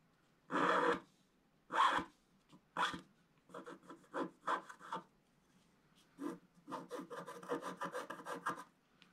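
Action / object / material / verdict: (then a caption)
scrape / wax-coated scratch art paper scraped with a wooden stylus / waxed paper / none. A wooden stylus scratches through the black coating of a flat, wax-coated scratch art sheet, cutting stripes near the base of a tree. The first few scratching strokes are long, broad rasps; they are followed by shorter, quicker strokes that speed into a rapid run of dry scratches centered around 1 kHz.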